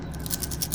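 A handmade paper shaker card with loose sequins sealed inside is shaken, and the sequins rattle in a quick series of soft, bright ticks over a low background rumble. The card works as it should, with the sequins moving freely inside.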